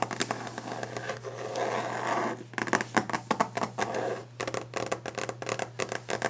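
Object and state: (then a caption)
Varnished wooden desk. Long painted nails scratch and tap fast and aggressively on a solid varnished wooden desk top. A dry, continuous scraping texture fills the first couple of seconds, then gives way to rapid, sharp, clicky taps broken by short bursts of scratching. A faint steady low hum runs underneath throughout.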